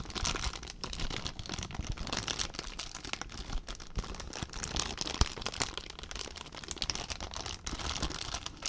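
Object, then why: Plastic zip bag. An empty clear plastic zip bag is squeezed and crinkled with the fingertips. Dense, bright crackling and crinkling runs steadily for about nine seconds, with quick sharp snaps and a soft low rumble underneath.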